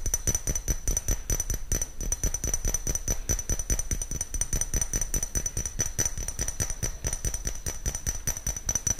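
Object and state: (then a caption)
Small glass jar. A small, clear, hollow glass jar or shot-glass-like container, apparently empty, is held in one hand close to the microphone while the fingernails of the other hand tap and scratch it. A rapid, uneven stream of clicky taps and scratches carries a low, close-up thump beneath it and a steady, high glassy ring above it.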